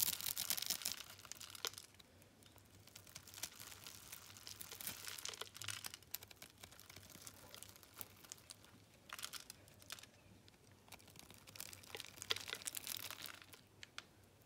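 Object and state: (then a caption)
Dry bar soap being cut. A metal utility knife blade slices and scrapes small cubes from a solid, dry blue bar of soap held in the hand and pre-scored in a grid, and the cubes fall onto a wooden table. The sound is a dense run of bright, crisp crackling and crumbling scrapes with tiny sharp clicks. It swells into louder bursts at the start, around the middle and near the end, with almost no low end.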